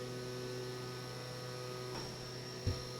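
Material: Nothing is struck.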